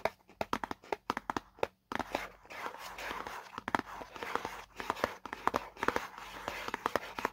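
Fingertips and nails of both hands scratch and tap the same white side of a small, hollow paperboard product box. First come sharp, dry taps with brief silences between them. After about two seconds, a steady papery scratching rustle sets in, punctuated by more quick taps that decay almost instantly.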